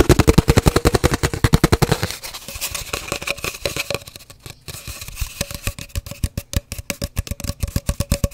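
An empty, hollow cardboard paper towel tube is tapped rapidly with long dark nails and fingertips while held both horizontally and upright. The result is a fast, somewhat uneven stream of short, dry, hollow thumps with a low, boomy body and a faint resonant tone. The tapping is loud at first, softens and turns denser and noisier for a stretch, then returns to crisp, distinct taps.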